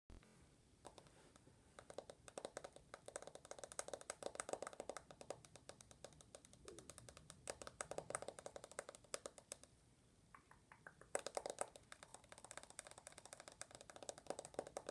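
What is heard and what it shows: Long natural nails tap fast on the glass screen and aluminum frame of a rose-gold iPhone held in the hands, without a case and with the screen off. A quiet, dense stream of sharp, dry clicks with a hollow tone around 560 Hz and bright edges runs throughout, easing briefly near ten seconds before picking up again.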